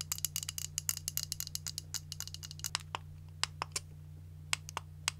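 Long nails tap and scratch along the barrel and handle of a white and pink automatic hair curling iron with a long, hollow plastic body. The result is a quick run of sharp, bright clicks and scrapes: dense at first, then spacing out, over a steady low hum.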